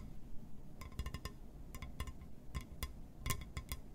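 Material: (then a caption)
Glass. Fingers tap and scratch on a glass surface, giving a run of quick, clinking glassy taps with a short, bright ring. The taps sit over a quiet, steady low rumble of scratching.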